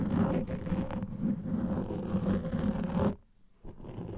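Fingernails scratch the top and sides of a large black foam microphone windscreen, making a dense, muffled, low-heavy rustling and scraping that runs steadily for about three seconds. It then drops to near silence for a moment before the scratching resumes more quietly.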